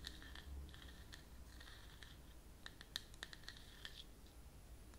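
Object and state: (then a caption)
Plastic jar lid. Long natural nails scratch and tap in quick strokes on the flat top of a round white plastic screw lid on a closed cosmetic cream jar with a partly visible brand label, held in one hand close up. Soft, dry scratching rasps run through the first half over a low background rumble. They are followed by a cluster of sharp, bright clicking taps with a high, thin tone and almost no ring.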